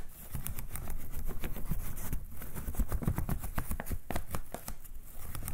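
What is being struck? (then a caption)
Folding hand fan with thin wooden ribs and paper. Fingertips and nails flick and scratch along the stacked thin wooden ribs of a partly closed folding hand fan with red paper. A steady run of quick, dry clicks and scratchy ticks sits over a soft, low rumble. Each tick stops at once, with no ring.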